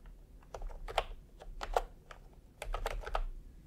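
Fingertips type on a full-size retro keyboard with a peach plastic case and round typewriter-style plastic keycaps. Short, dry plastic clacks come in quick clusters, with a mid-range tone around 700 Hz and a few sharper accented strikes. A faint low rumble runs underneath the typing.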